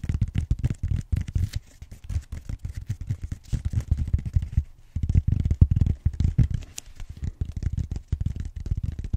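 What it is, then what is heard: Styrofoam roller end being scratched. Fingertips and short nails scratch the rim of the flat round end of a purple bead-textured styrofoam roller, making a rapid run of dry, crackly scratches. The sound is dense and low-heavy, with each stroke dying away almost at once and a brief pause partway through.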